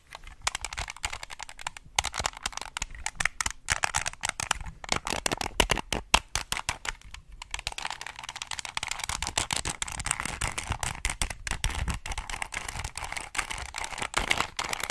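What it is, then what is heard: Plastic 2x2 puzzle cube. Fingertips rapidly turn and click the layers of a small, solid plastic 2x2 twisting puzzle cube with colored stickers, held in both hands close to the mic. A dense, steady stream of sharp, bright plastic clicks and ratcheting rattles continues throughout, with only brief pauses.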